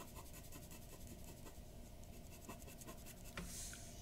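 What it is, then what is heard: Paper drawing sheet. A glass dip pen's metal nib scratches short ink strokes near the mouth of a drawing on flat white drawing paper resting on a wooden desk. The strokes make a quiet, steady scratching with faint taps over a low background hum, ending in a brighter, slightly louder rasp.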